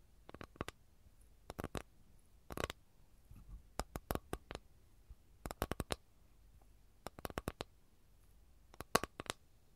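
Long nails tap and scratch the top surface of an empty, flat rectangular capiz shell tray held in both hands. Quick clusters of sharp, bright clicks come in short bursts, with a softer scratching patch between them. Each tap dies away almost instantly over a quiet background.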